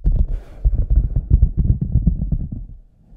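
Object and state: Rubber boot being scratched.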